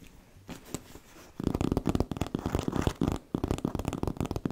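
Long nails scratch the fabric and the leather-look side panel of a hollow black fabric handbag with faux-leather trim, held close to the mic. Faint, sparse scratches open the clip, then give way to dense, rapid, rustling scratching with a heavy low, hollow body. The scratching briefly drops out before resuming just as busily.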